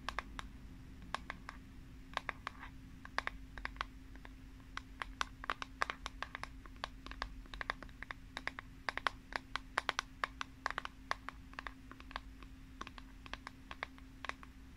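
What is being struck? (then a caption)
Plastic paddle hairbrush back. Long painted nails tap quickly on the flat, printed plastic back of a hand-sized pink paddle hairbrush. The result is a rapid, irregular stream of short, dry, bright clicks that stop instantly, over a faint steady low hum.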